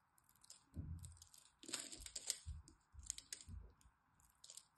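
A metal blade cuts small cubes off the scored surface of a solid green dry soap bar held in the hand. Quiet bursts of dry, crunchy scraping bring bright crackling flakes and soft low thuds, over a faint steady hum.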